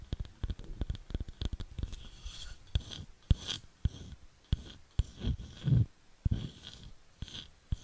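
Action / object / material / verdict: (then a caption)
tap / wooden bowl / wood / none. Long nails tap and scratch a round, light wooden bowl that is hollow and empty. Quick, dull, low knocks with almost no ring come in irregular bursts, mixed with softer scraping swells that carry a faint high rasp.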